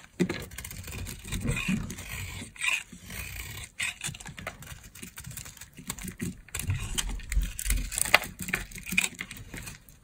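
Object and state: Dry soap bar being shaved.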